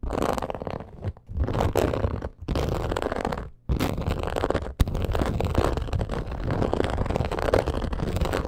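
Long acrylic nails scratch and tap on a black crocodile-embossed leather purse, making a dense, rapid, low-weighted scratching texture. The sound is broken by a few brief silences and has one sharp tap near the end.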